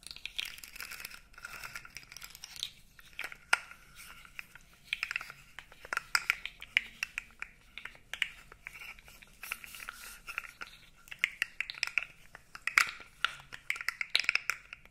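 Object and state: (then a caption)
Plastic articulated fidget toy. A blue segmented plastic fidget toy is bent and squeezed with long nails and fingers. Dense, dry clicks and crinkly crackles sound over a steady bright band in the low-kHz range, each tick stopping almost at once. Louder snaps burst out now and then throughout.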